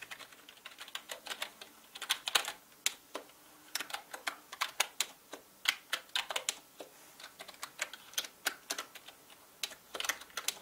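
Fingertips of both hands type steadily on a full-size black plastic mechanical gaming keyboard with plastic keycaps. About forty sharp, bright key clacks come in quick, uneven bursts, centered near 3 kHz with almost no low end. Each click dies away almost instantly.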